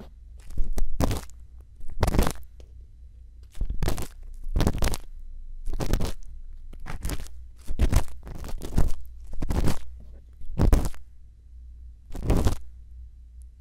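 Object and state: Silicone ear of a binaural microphone.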